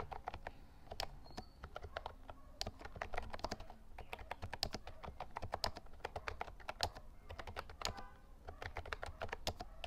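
Fingertips type steadily on the round white keycaps of a compact lilac plastic Actto Retro Pop mini Bluetooth mechanical keyboard, producing a rapid, uneven stream of short, dry, bright clicks and clacks that stop instantly. A soft low hum sits underneath the taps throughout.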